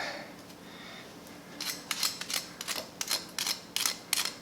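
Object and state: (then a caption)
Crispy baked chicken wings. Freshly cooked, hot chicken wings are handled, giving a quiet hiss followed by a run of sharp, bright crackles and crunches. The crackling shows how crispy the wings are.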